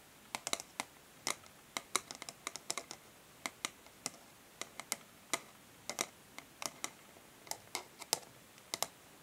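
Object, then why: Printed cardboard packaging sleeve. Long nails tap and lightly scratch a flat, printed cardboard packaging sleeve resting on a table. Around thirty quick, dry, bright clicks sound in an irregular rhythm, each dying away almost instantly over a quiet, faint hiss.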